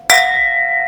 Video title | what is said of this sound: Inside a $200,000,000 Ferrari Collection | เสียงกังวานที่คุณจะได้ยินและความยาวนานของการก้องกังวานนั้น